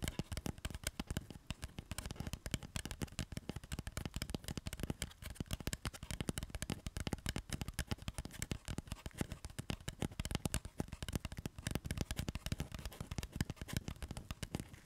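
Fingertips rapidly tap and scratch the dry, papery outer skin of a whole, solid, fist-sized raw red onion held in both hands close to the face. The result is a dense, continuous stream of quick, dry crackling taps, with soft low thumps under a light, bright papery rustle. Each tap dies away almost instantly.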